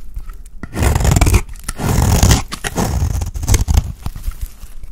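A utility blade scrapes and shaves a round, solid, dry cream soap bar held in the hand. Rough, crumbly scraping strokes come in bursts with a strong low rumble and a grainy, bright hiss. Shorter scratches and soft crackles follow between the longer passes.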